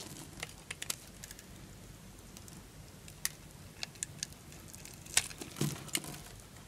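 A knife blade shaves scored cubes off an orange solid bar of dry soap, breaking them away in crisp crumbles. Quiet sharp, bright cracks and snaps stand out over a soft, steady crumbling patter, irregularly spaced. The loudest cluster comes near the end.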